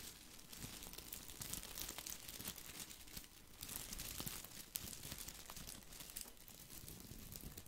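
Fingers rub and scratch the small plastic leaves of a round artificial topiary ball held in one hand close to the mic. The result is a continuous, quiet, bright crinkling and rustling with crisp scratchy ticks, plus a soft low rumble from the handling.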